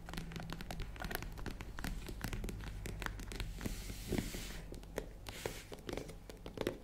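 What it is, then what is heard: Faux leather zippered case. Long nails tap rapidly on the top edge and lid of a tan faux leather zippered case with a hollow box shape. The result is a dense run of quick, dry clicks over a steady low hum.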